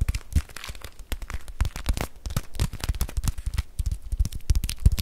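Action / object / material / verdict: scrape / plastic bag filled with rice / plastic / none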